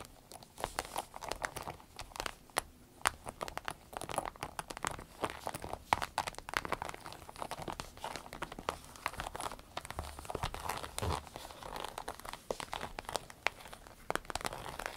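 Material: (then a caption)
Vinyl. Long red nails scratch, lightly squeeze and crinkle a small striped soft-vinyl zip pouch. The result is a quiet, steady stream of dense crackling taps and crinkles, with quick dry snaps centered in the midrange and a little bright edge.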